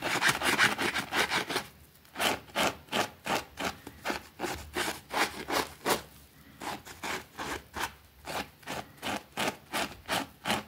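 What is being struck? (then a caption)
Small fabric rug scrubbed with a plastic brush. A white plastic brush scrubs a small, thin, soapy green fabric rug lying on a concrete floor while a finger holds its edge. Rapid, dense back-and-forth strokes give way to steady, evenly spaced bright scratchy swishes, with a brief pause before the rhythm resumes.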